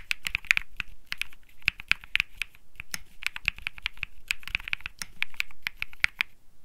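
Fingertips type continuously on a cream Think 6.5 mechanical keyboard with Bsun Lollipop switches and plastic keycaps. A steady run of crisp, bright clacks centers near 2.5 kHz, with a soft low thump under each press. Each keystroke cuts off almost instantly, with no ring between them.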